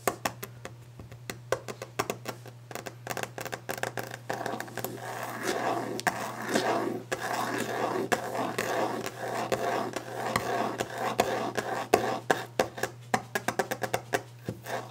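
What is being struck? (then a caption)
Varnished wooden desk top. Long orange-painted fingernails tap and scratch quickly across the top of a large, solid, varnished wooden desk. Sharp clicking taps come in dense bursts at the start and end, with a stretch of continuous scratching in the middle. A steady low hum runs underneath throughout.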